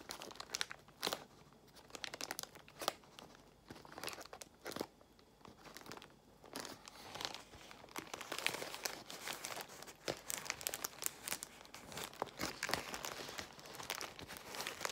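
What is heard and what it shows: Long nails scratch across a large bundle of clear plastic bubble wrap while fingers squeeze its air bubbles. Dense, bright crinkling and crackling are broken by sharp pops and crunches throughout, growing busier and louder in the second half.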